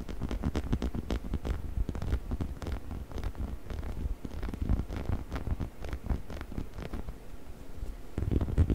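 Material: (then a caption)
Rubber. Fingertips scratch and rub along the body and head of a hollow yellow rubber chicken toy held close to the microphone, with occasional squeezing. The result is a steady stream of soft, dull scratching and rubbing strokes, heavy in low tones with little brightness, growing slightly louder near the end.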